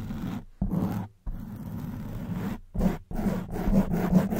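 Long white nails scratch and squeeze a black foam microphone windscreen, making dense, muffled, scratchy rustling that is heavy in the lows. The rustling comes in several bursts of varying length, separated by brief silences, and grows slightly louder toward the end.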